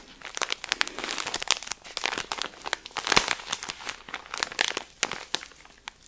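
Fingertips and nails rub, squeeze and scratch the thin plastic film around a cylindrical pack of cotton pads held in one hand. The result is dense, bright crinkling with sharp crackly spikes and almost no low end.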